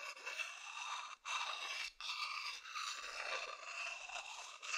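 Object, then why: Wooden bowl scratched with a thin wooden stick. A thin wooden stick scratches the outer side of a medium hollow wooden bowl, making a dry, rasping scrape. The sound is bright and high with no low end, running in long continuous strokes broken by brief pauses.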